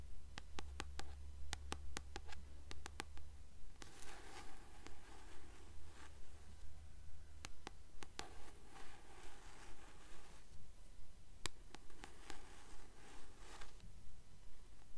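Long nails tap and scratch the glossy back cover of a Percy Jackson paperback book held upright. Quick, crisp clicking taps come in short bursts, alternating with stretches of soft, brushy scratching across the cover. A steady low hum sits underneath throughout the quiet recording.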